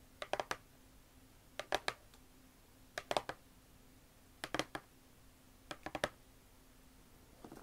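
Long nails tap and scratch the top lid of a closed, hollow red and brown Vans cardboard shoe box standing upright. Five quick bursts of dry, crisp clicking taps come at an uneven pace, each ending fast with no ring. Quieter scratching sounds begin at the very end, over a faint steady low hum.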